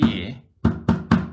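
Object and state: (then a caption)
Hollow termite-damaged timber. Painted timber in a house with old termite damage is tapped during a pre-purchase building and pest inspection, giving four short, low, hollow knocks with a brief ring. The hollow sound shows the termites have eaten out the inside of the wood, leaving it paper-thin.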